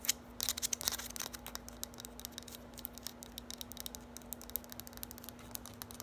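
Long nails rapidly tap and scratch a small, hollow, lime-green hard plastic olive-oil style bottle with a printed label. The result is a quick, irregular patter of sharp, bright clicks and scratchy ticks, densest in the first second and a half, then thinning out. A faint, steady low hum runs underneath.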